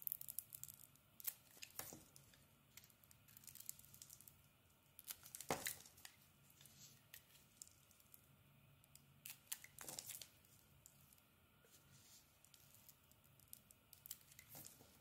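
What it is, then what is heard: Bar soap being carved. A small metal blade peels and shaves a solid oval purple soap bar with a dark interior layer, held in the palm. Soft, crinkly tearing and scraping sounds come in quick bursts, with a few sharper, bright scrapes standing out over a quiet background. Each stroke is dry and short, with almost no ring.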